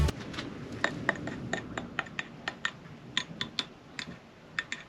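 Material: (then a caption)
Lime plaster. Lime plaster render on a stone wall is tapped along a small crack, producing a quick series of light, dry, clicky knocks with a faint bright ring and no sustain. The render sounds hollow at the crack, where the mortar has moved outward.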